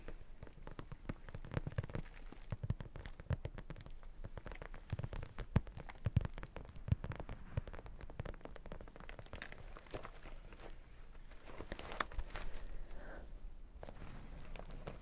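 A small zippered makeup bag of sequins and holographic vinyl is tapped with nails and fingertips on the vinyl and sequins and patted with a flat hand on top. The result is a dense run of quick, dry clicks and soft low thumps with a faint crackle over a low murmur.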